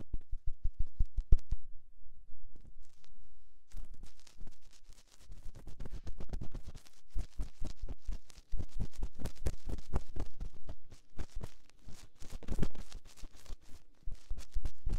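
A metal ear-pick scratches and probes inside the ear canal of the soft silicone ear of a binaural microphone. Close, deep thuds and rapid scraping clicks come in dense bursts, with a brief quieter stretch early on before the scratching picks up again and continues steadily.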